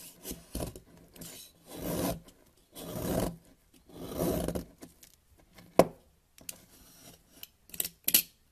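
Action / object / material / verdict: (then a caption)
scrape / solid bar soap cut with a blade / soap / none. A box-cutter blade scrapes and cuts small crumbly pieces off a partly carved solid white soap bar, beside a powdery pile of soap. Three longer, soft rasping scrapes stand out among short scratchy strokes, followed by a few sharp, bright clicks of the blade near the end.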